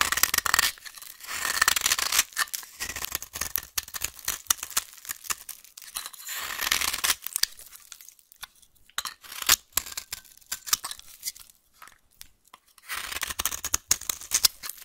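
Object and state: Bar of soap being scraped.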